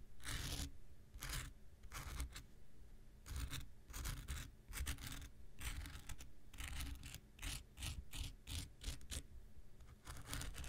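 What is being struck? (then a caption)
Foam nail buffer block. A handheld pink rectangular nail buffer block, solid foam with an abrasive surface, is scratched with an X-Acto knife blade. Short bright, gritty scraping strokes come in quick irregular bursts over a steady low rumble. Each stroke stops sharply, with almost no ring after it.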